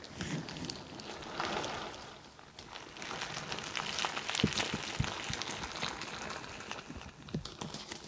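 A crinkly bingsu ball, a stretchy plastic skin filled with plastic beads, is pressed on top of a microphone and squeezed and rubbed with fingertips and long nails. It makes a dense, bright crackling and rustling of shifting beads, with swells of crinkle and a few soft low thumps where it presses against the mic.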